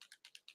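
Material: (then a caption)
Plastic, metal. A small silver metal mixing ball rattles inside a plastic Army Painter miniature-paint dropper bottle as it is shaken; the ball keeps the paint from congealing and going solid. Six quick, dry, high-pitched clicks are heard, evenly spaced and bright with almost no low end, each dying away at once.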